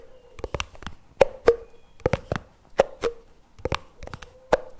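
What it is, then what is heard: Plastic jar lid tapped. Fingertips tap the white plastic lid and rim of a plastic chocolate spread jar lying on its side on a table. Sixteen short, hollow plastic taps with a ringing tone around 540 Hz come in an uneven rhythm, each dying away almost instantly.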